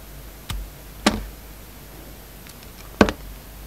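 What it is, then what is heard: Soap bar being shaved with a blade. A hand-held solid soap bar with black and white stripes and a red edge has its surface shaved and scraped with a utility knife blade. Four short, dry scraping knocks stand out over a faint steady hiss, the last two close together, each dying away almost at once.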